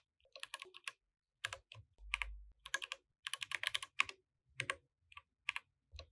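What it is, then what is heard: Mechanical keyboard with plastic keycaps. Both hands type with fingertips on a compact mechanical keyboard with plastic keycaps, while the mouse stays untouched. Bright, dry clacks come in quick bursts separated by short pauses, with a brief low thump under the typing around the two-second mark.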